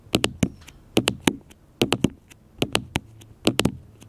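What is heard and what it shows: Fingertips and nails tap a black smartphone with a glass screen held on a table, giving fifteen short, crisp clicks in loose groups of two or three. Each tap dies away almost instantly.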